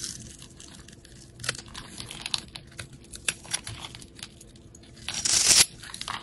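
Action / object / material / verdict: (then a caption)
scrape / bar of soap scraped with a knife blade / soap / none. A metal utility-knife blade scrapes and carves crumbly flakes from a solid rectangular bar of yellow soap held in the hand. Dry, bright crackling scrapes and crunches come in short separate bursts over a quiet hiss. Near the end, one longer and louder scrape builds to a harsh, high, rasping peak before cutting off.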